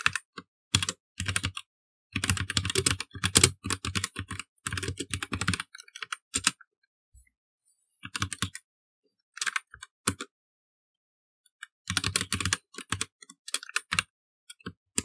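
Fingertips of both hands type steadily on a black plastic mechanical computer keyboard. Dense bursts of sharp, bright clicky keystrokes with a low thock beneath them come in flurries, separated by brief pauses and a sparser stretch in the middle, with no speech.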